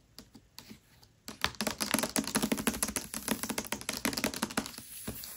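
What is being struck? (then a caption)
Hardcover book with paper dust jacket. Long nails tap on the paper dust jacket of a Mistborn hardcover book lying flat, with a few soft, sparse taps at first. The tapping then turns into a quick, uneven flurry of short, crisp clicks with a bright papery edge over a faint hollow thump from the cover. The taps settle slightly quieter toward the end.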